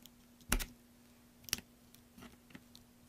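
A metal craft knife scrapes and cuts flakes off a large, solid green soap block held in hand, with the chips piling onto a black surface. A few crisp, bright cuts stand out, the loudest near the start, followed by softer scrapes and small clicks. A faint, steady low hum runs underneath throughout.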